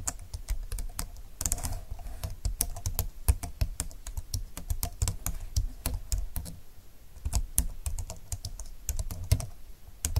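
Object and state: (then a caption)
Plastic slim computer keyboard. Both hands type steadily on a slim computer keyboard with plastic keys and a grey frame, fingertips pressing the keys. Rapid, crisp clicks and soft low taps follow one another in an uneven, continuous rhythm, each key stroke short and dry with no ring.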